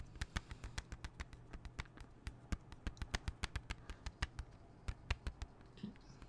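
Fingernails tap and scratch a closed, small, hollow hard plastic CD jewel case held flat. About 32 quick, dry clicks run in an uneven rhythm, each sharp and bright with almost no ring, over a faint low hum. Near the end, the taps thin out into softer scratching.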